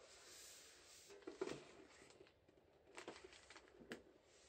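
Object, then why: Tin-plate biscuit tin. Gloved fingertips rub and stroke the plain metal base of a large, flat, rectangular tin-plate biscuit tin that is hollow, full of shortbread, and lying upside down on tissue paper. A quiet, steady, bright hiss of brushing runs throughout. Soft, short scuffs and light taps stand out a little louder near the 1.4, 3.1 and 3.9 second marks.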